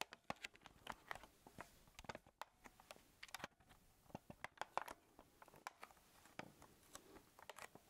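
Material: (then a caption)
Plastic. Fingertips press, tap and rub the casing of a small, hollow, black plastic Sony camcorder held in both hands. The result is a quiet, irregular stream of sharp, dry clicks and crackles with crisp, bright edges, little low end, and no ring after each tap.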